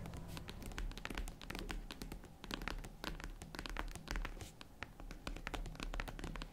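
Long nails scratch and tap the lid and sides of a small, hollow, tan faux-leather zippered jewelry case that is closed. A dense run of quick, dry taps and scratchy strokes comes through, each with a soft hollow thump and almost no ring, over a steady low rumble.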